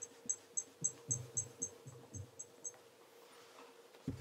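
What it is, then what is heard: Leather loafer being rubbed with a polishing cloth. A black leather Regal tassel loafer is held in one hand while cloth-wrapped fingertips rub its toe for a mirror shine. About ten quick, evenly paced strokes each give a soft low brush with a bright, high squeak. The strokes then fade to a quiet hiss before one last low rub at the end.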